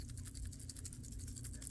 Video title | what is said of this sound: Bulletman Muscle Body Rebuild Part 1 NOT FOR CHILDREN | if you shake the limbs, you can hear and both see the rotted away rubber in there